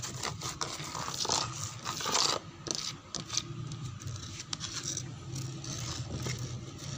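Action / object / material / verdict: scrape / wooden door panel / wood / none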